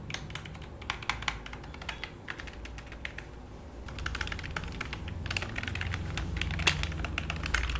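Fingertips type and tap on the keys of a black full-size plastic computer keyboard resting on a lap, while a palm rests and rubs across the keys. Quick, irregular plastic clicks sit over a steady low rumble. The rumble grows louder in the second half.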